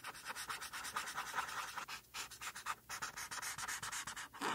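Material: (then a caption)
Paper. A felt-tip marker tip is rubbed back and forth over a flat white paper coloring sheet, filling in the mane. It makes a steady run of quick, scratchy strokes with a bright, dry hiss, broken by a couple of brief pauses before the rubbing resumes.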